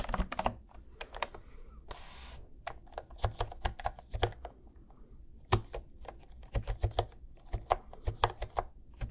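Fingertips type on a cream plastic retro keyboard with round pastel keys, held at an angle near one microphone and then moved to the center. Quick, short keystroke clicks come in uneven bursts over a soft, low-heavy background, with a brief hiss of noise near the two-second mark. Each tap is dry and dies away almost at once.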